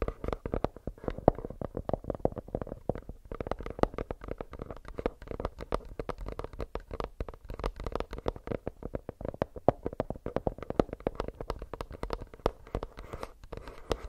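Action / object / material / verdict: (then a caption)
tap / plastic earbuds case / plastic / none. Fingernails tap rapidly and continuously on a plastic earbuds case for about fourteen seconds. The sound is a dense stream of short, dry clicks with a mid-range body around 600 Hz and a soft low thump, each tap dying away almost instantly.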